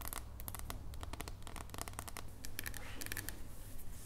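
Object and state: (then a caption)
Dark chocolate bar tapped with nails. A solid dark chocolate bar is held and then laid flat on a table and tapped with long nails. The result is a quick, continuous run of light, bright, clicky taps over a steady low hum.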